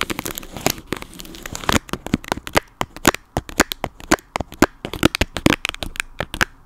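Fingers tap rapidly on a plastic toy dog, making a dense run of short, dry clicks and taps mixed with crinkly rustling. The taps are quick and sharp with almost no ring, and they come faster and cluster more tightly in the first couple of seconds.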